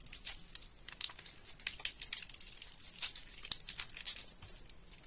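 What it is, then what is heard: Soaked mushy soap. Fingers squeeze and tear a large mass of mushy, water-soaked soap sitting in a sink with yellow soapy water. The result is a dense stream of quiet, bright, wet crackling and crinkling with soft squelchy pops, and almost no low end.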